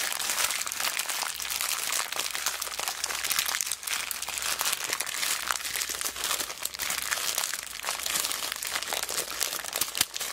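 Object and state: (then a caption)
Plastic zip bag of beads. A small clear plastic zip bag full of colourful plastic beads is held in both hands and squeezed and rubbed with long black nails and fingertips. The result is a steady, dense crinkling and crunching with many tiny bright clicks from the beads shifting inside, continuing without pause throughout.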